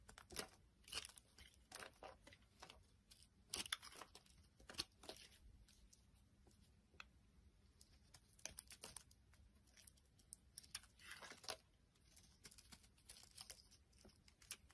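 A metal blade carves thick curled chips off a solid tan bar of soap held in the hand, letting them fall onto a wooden surface. Many short, dry, bright scraping and crackling cuts come in irregular bursts, some longer tearing strokes among them, over a quiet background.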